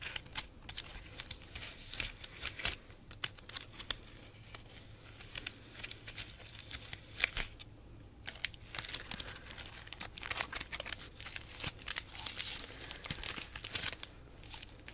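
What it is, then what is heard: Pineapple crown leaves. Long nails scratch and rub the stiff, waxy leaves of a whole pineapple's leafy crown, making a steady run of dry, crinkly scrapes and rustles. The sound is bright and close, with quick, sharp clicks and brief louder swishes over a quiet low hum.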